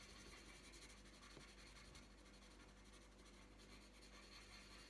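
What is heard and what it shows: A green wooden coloured pencil tip rubs steadily across a thin printed paper colouring sheet lying on a tabletop. It makes a continuous soft, dry scratching and rasping sound with bright hiss and a faint low hum underneath.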